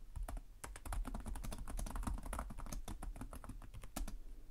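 Both hands type steadily with their fingertips on the plastic chiclet keys of a black laptop keyboard. A fast, continuous run of short clicks and taps carries a soft, low thump under each keystroke, and every press dies away almost at once.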